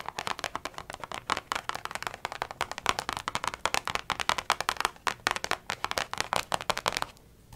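Long painted nails and fingertips rapidly tap and rub across a blank page of a small spiral-bound paper notebook lying flat and open. The result is a dense run of crisp, dry clicks and papery scratches with bright highs and almost no low end. Each tap dies away almost instantly, and the tapping stops just before the end, leaving near silence.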